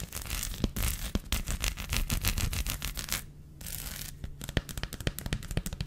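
Long fingernails scratch across the bumpy honeycomb surface of a large, flat, solid dark chocolate bar held flat in one hand. Dense, dry scratching bursts with bright crackly edges and a low thumpy base come in quick irregular runs. A softer, steadier rubbing stretch in the middle briefly quiets things before the sharp scratches pick up again.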